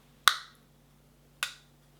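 An eyeshadow palette compact is snapped shut twice, giving two sharp, bright clicks with a short ring, the second softer than the first. Something in the packaging obstructs the closure, so the clasp doesn't close properly, makes an odd clicking sound, and sounds cheap.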